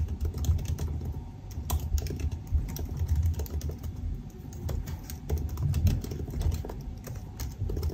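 Both hands type fast with their fingertips on the black plastic keycaps of a silver aluminum laptop resting on a desk. A rapid, steady stream of short key taps sits over a low, dull rumble, with brief bright clicks standing out now and then.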